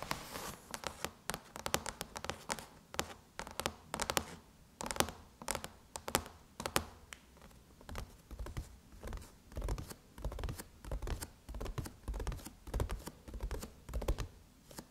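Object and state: Aluminum laptop lid.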